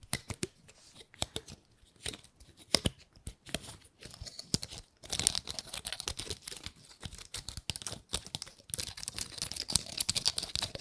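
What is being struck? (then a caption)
Dry pine cone. Long nails scratch across the woody scales of a dry, gold-painted pine cone. The result is a dense run of bright, dry crackling clicks and rasps with almost no low end. It starts sparse and becomes busier and more continuous in the second half.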